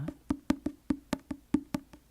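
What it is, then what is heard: Paperback book. Eleven light taps on the paper front cover of a paperback book, *Japanese Tales*, played as a book-tapping sound to contrast with a hardback book. Each is a short, dry, hollow knock with a low pitch around 285 Hz and almost no ring, at an uneven, relaxed pace.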